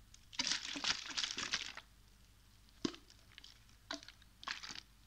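A small clear plastic water bottle with a blue cap and white label, partly filled with water, is held in one hand, tilted and shaken while the fingers grip its thin, crinkly plastic. A long burst of bright crinkling and sloshing is followed by a few short, separate crackles with quiet gaps between them.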